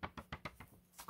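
A paper banknote is snapped seven times in quick succession, each snap a short, dry crack with a bright upper edge and almost no ring. The note sounds crisp, and it is said not to flop down when held.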